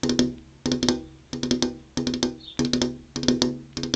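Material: Glass.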